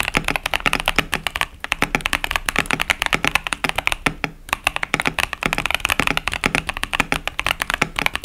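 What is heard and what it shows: Both hands type continuously with the fingertips on a 65% plastic KBD67 Lite mechanical keyboard fitted with Boba U4T tactile switches and pastel plastic keycaps. The keys make a rapid, steady stream of short, dry, bright clacks with very little ring, broken by two brief pauses.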